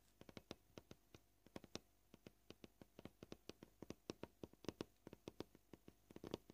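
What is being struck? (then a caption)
Plastic cutting board tapped with fingernails. Short purple fingernails tap the top surface of a solid white plastic cutting board with surface scratches, making dry, quick-decaying clicks at a varying pace. About 36 separate taps are heard, some spaced apart and some in fast clusters.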